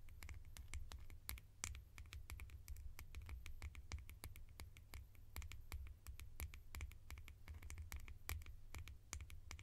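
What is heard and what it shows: Fingertips tap rapidly on plastic lids for ASMR, making a dense stream of short, bright clicks. The quick taps fall in an uneven rhythm over a steady low hum.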